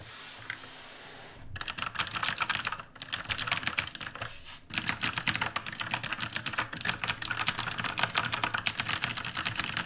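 Two hands type with the fingertips on an RGB-lit black mechanical keyboard with plastic keycaps. After a quiet first second and a half, rapid bursts of clacky keystrokes with a bright, high tick follow, broken by short pauses near the 3- and 4.5-second marks.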